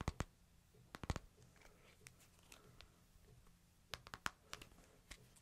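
Fingertips and nails tap the glass screen of a hand-sized smartphone in a light plastic case, held flat in one palm. Sharp, dry clicks come in quick clusters near the start and again near the end, with softer, fainter taps in between. Each tap dies away almost instantly over a low, steady hum.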